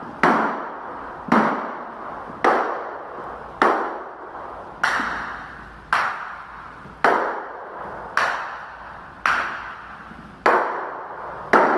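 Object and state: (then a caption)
Tile floor with hollow spots. A golf ball is dropped repeatedly across a stone/ceramic tile floor laid over a soundproofing membrane during an inspection, producing 11 sharp taps at a steady pace, each with a short mid-pitched ring. Some taps sound hollow and others solid: the solid spots show where the tile is bonded, while the hollow spots come from the membrane delaminating from the slab even though the tile itself is well bonded.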